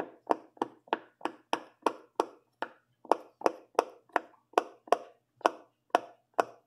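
A fingertip presses and pops the hollow bubble domes on the orange and yellow section of a silicone pop-it fidget toy. Seventeen short, dry pops come in a steady rhythm, each a quick snap with a midrange tone near 900 Hz and a faint bright edge that dies away almost at once.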